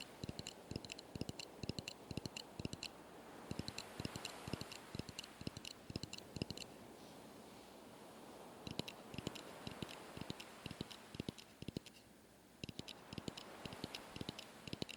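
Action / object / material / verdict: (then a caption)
tap / wooden driftwood plank / wood / none. Driftwood planks gathered from a wreck for a raft are tapped one after another to check whether each is sturdy enough. The result is a long run of short, dry wooden knocks with a low thump and bright clicky edges, in uneven bursts with brief pauses between them. No verdict on any piece is given.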